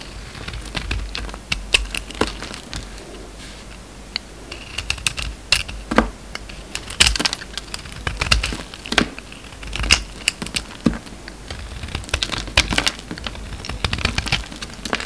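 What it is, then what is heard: Bar of soap being shaved. A steel utility-knife blade shaves crumbly flakes off a solid, hand-sized oval pink soap bar with a red coating, held in the palm. A rapid series of dry, bright scraping and crackling cuts follows, each one short and crisp and centred around 2.8 kHz. Quiet pauses separate bursts of quick strokes.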